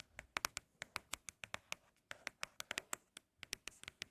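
Fingertips tap rapidly on empty Apple product boxes made of cardboard for ASMR, producing about 25 quick, dry, bright clicks with almost no ring or low end. The taps come in an uneven rhythm with a brief pause near the middle, giving a crisp, pleasing hollow patter.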